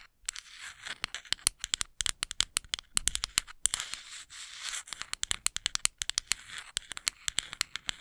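Long acrylic nails scratch and rake across the fine teeth of a small, flat, solid wooden comb held close to the microphone. Dozens of sharp, bright clicks and raspy scrapes come in quick, uneven bursts. Each tick stops dead, with almost no low end.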